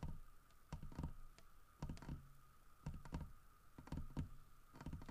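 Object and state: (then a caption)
Carved wooden bear statue. Fingernails tap and scratch the grooved fur carving of a large, solid carved wooden bear statue. Dull, low, short knocks come in loose clusters with scratchy bursts between them, over a faint steady mid-pitched hum.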